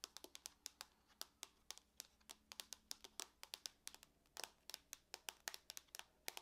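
Long nails tap and scratch across the lid of a closed silver aluminum laptop. Around 35 sharp, bright clicks arrive in an irregular rhythm, each dying away almost instantly, with a few brief scratchy rasps mixed in. The whole clip stays quiet and thin, with almost no low end.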